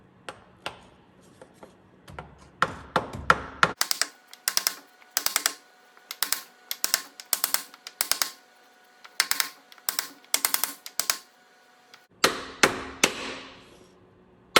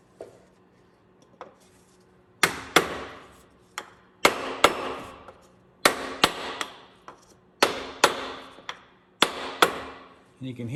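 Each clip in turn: First: oil seal not yet fully seated. Second: oil seal fully seated.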